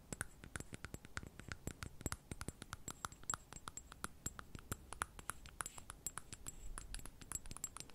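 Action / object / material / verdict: tap / small glass perfume bottle with metal cap / glass / none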